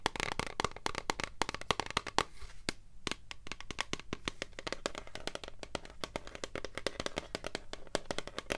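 Long nails tap and scratch a tall, translucent blue plastic hair product bottle with a black pump, partly full. Quick, sharp, dry clicks come in a steady, dense stream, broken by brief scratchy rasps. Each tap dies away almost instantly over a faint, steady low hum.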